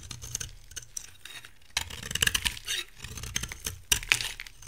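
A dry brown bar of soap with a green shell is held in hand while a metal cutter blade scrapes and carves flakes from its edge and face. The cutting makes a dense run of crisp, bright scratches and tiny crackling clicks, with sharper bursts of flaking midway and near the end.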